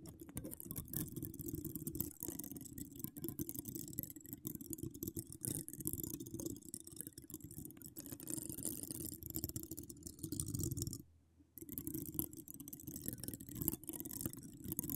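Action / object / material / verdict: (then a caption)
scrape / metal mesh microphone grille / metal mesh / none. Long decorated acrylic nails scratch across a hollow metal mesh microphone grille, making a dense, continuous rasping scratch with a heavy low rumble and bright, crackly edges. The scratching runs steadily, drops out briefly around eleven seconds, then resumes.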